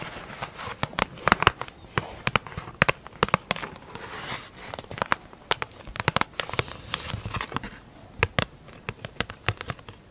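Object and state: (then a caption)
Plastic lid tapped with nails. Long acrylic nails rapidly tap and scratch a large, round, hollow black plastic lid with a clear plastic top. Dozens of sharp, dry clicks with a bright edge centered near 1 kHz land in quick, uneven bursts. Soft scratchy rustling fills the gaps between the taps.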